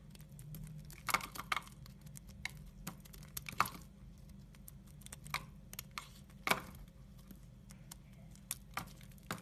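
A red-handled utility knife blade scrapes thin curls off a solid brown soap bar held in the hand. Soft, dry scraping is broken by sharp, bright cracks and crisp crackles that stop at once. A steady low hum runs underneath.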